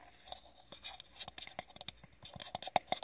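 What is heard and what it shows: Long fingernails scratch and tap a small, hollow, orange-yellow plastic play-food pie with a crimped edge, held in the hand. A quick series of light, dry clicks and scratchy rasps is heard, each with a bright hollow plastic tone that dies away almost instantly. The taps grow sharper and louder toward the end.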